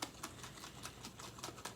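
A jar of whipping cream is shaken rhythmically to make butter, giving a run of short, bright, clumpy knocks instead of a liquid slosh. The sloshing is fading into a lumpy sound because the fat is clumping and the cream has already thickened on its way to butter.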